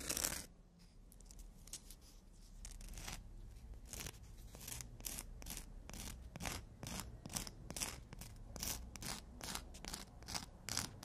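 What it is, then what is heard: Emery board nail file. A long black emery board files the edges of nails against its abrasive surface, making a quick series of short, bright scratching strokes over a low background hum. The strokes repeat unevenly at a brisk pace, each a dry rasp with no ring.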